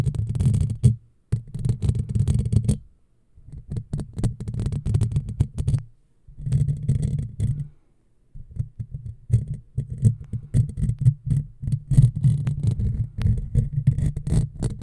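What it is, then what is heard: Metal mesh microphone grille being scratched. A hollow black metal mesh microphone grille is scratched with the long fingernails of one hand, producing dense, muffled low scraping and rumbling in bursts separated by brief silences. Faint bright scratchy detail rides over the heavy low-end body of the sound.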